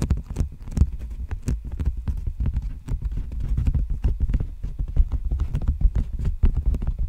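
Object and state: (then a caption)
Plastic bubble mailer. Fingertips and nails tap and scratch a large, empty black poly bubble mailer envelope held horizontally in front of the microphone. The result is a rapid, uneven run of dull, low, thumpy taps, with faint scratchy rustle and brief bright edges on the sharper strikes.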